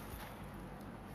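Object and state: Nothing is struck.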